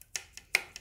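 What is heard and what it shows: A handmade onggi-clay flower pot that has only been air-dried, not fired, is tapped four times. Each tap is a short, dull, muffled tick that barely rings and dies away almost at once. The pot sounds dull rather than ringing because it is unfired.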